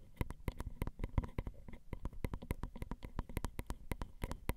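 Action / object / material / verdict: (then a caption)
tap / metal X/Y microphone capsules tapped with acrylic nails / metal / none. Long acrylic nail tips tap and scratch the grooves of the ridged metal X/Y microphone capsules on a Zoom recorder. The result is a quick, dense run of about thirty short, dry clicks. Each click is a deep thump with faint bright ticks on top, with no ring and no voice.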